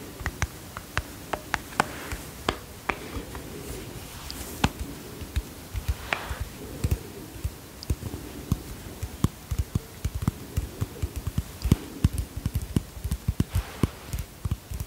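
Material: Plastic.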